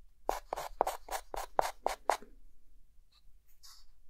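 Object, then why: Chalk stick on chalkboard. A hand adds short hatching strokes with a white chalk stick on a dark green chalkboard, making a quick, fairly even run of bright, raspy scratches. Each stroke has a mid-pitched squeaky core and stops dead with no ring. A quieter stretch with a faint, high, airy scrape near the end follows.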